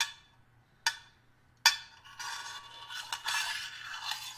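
A small, hollow, flat stainless steel hip flask, held up in the hand, is tapped with the metal tip of a small screwdriver; its fill level is not visible. Three separate bright metallic clinks ring out, each decaying quickly. These are followed by a denser stretch of high, scratchy metallic tapping and scraping.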